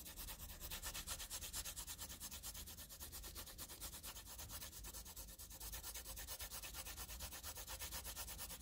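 A wooden pencil tip rubs dense graphite scribbles onto a flat squared sheet of graph paper in a scratching, rubbing motion. Quick back-and-forth strokes make a continuous, bright, papery scratch with a soft low rumble underneath, and the pulsing stays steady at a moderate level throughout.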